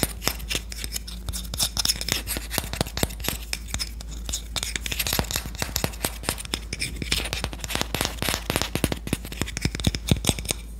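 A solid red-lacquered Korean wooden spoon has its bowl and handle tapped and scratched with long nails. Rapid, dry, sharp clicks and taps come in irregular bursts, mixed with brief scratching sounds. A steady low hum runs underneath throughout.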